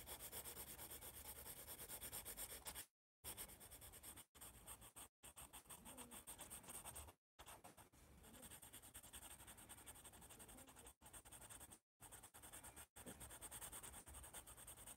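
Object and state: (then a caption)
Pencil sketching on a paper pad. A yellow pencil sketches with rapid rubbing strokes on a white paper sketch pad held by its top edge. It makes a dense, scratchy graphite rasp with a bright hiss and a soft low rumble underneath. The strokes run in long bursts broken by a few brief silent pauses.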